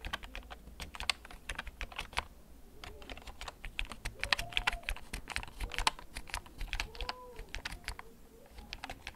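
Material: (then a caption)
Plastic. Fingertips type slowly on a hollow, backlit plastic gaming computer keyboard held at an angle, producing a steady run of short, sharp, bright key clicks. The taps are close and dry with almost no ring, over a low background hum, and faint arching whistle-like tones rise and fall between the keystrokes.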